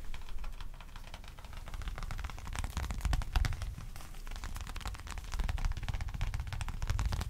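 Fingertips and nails tap and scratch the surface of a small black folded leather wallet as it is held up and turned in the hands. The result is a fast, irregular stream of soft, dry taps and crisp scratchy clicks over a dull low thud, each sound dying away almost instantly.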